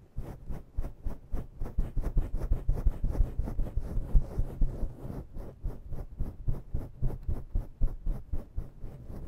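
Long natural nails scratch fast with both hands across a grey and black faux-fur microphone windscreen. About thirty rapid, brushing strokes rise and fall at a steady quick pace, each a deep, muffled, rumbling thump with a soft hiss on top. The sound is almost entirely low and dull, with no ring after each stroke.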